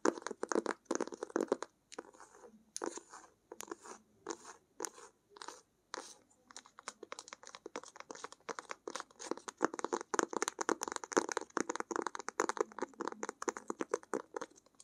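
Long acrylic nails tap and scratch the front cover of a medium-size lavender hardcover sketchbook, held upright, with a textured fabric- or paper-covered cover, an elastic band and paper pages inside. Quick, dry, crunchy taps and scratchy strokes come in short bursts with brief gaps early on, then run into a dense, continuous patter. The sound sits mainly in the midrange with a bright upper edge and no ring after each hit.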